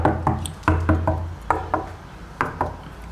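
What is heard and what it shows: Knocks on the middle of a plaster-covered concrete wall that runs over a duct give short, hollow-sounding taps, heard as ten raps in uneven groups over a low steady hum. The hollow sound comes from the duct behind the wall rather than empty space behind plasterboard.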